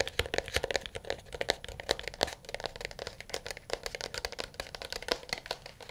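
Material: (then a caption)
Plastic. A smartphone in a solid dark blue plastic case, held in both hands, is tapped rapidly with fingernails and fingertips. About 39 quick, dry clicks and taps come in uneven bursts, each with a bright attack, a hollow plastic tone around 550 Hz and almost no ring.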